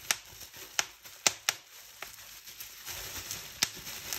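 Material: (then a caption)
Plastic. Fingertips and nails pinch a clear plastic bubble wrap sheet, popping bubbles one at a time in sharp, bright snaps with an irregular rhythm. Between the pops, the plastic gives a soft, high crinkling rustle that builds toward the end.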